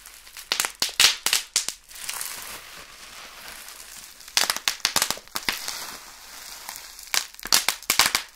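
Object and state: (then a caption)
Bubble wrap being popped. A clear, air-filled plastic bubble wrap sheet is held up in the hands and pinched and squeezed with the fingers, popping its bubbles. Sharp, bright pops come in quick bursts at the start, middle and end. Softer crinkling of the plastic fills the gaps between them.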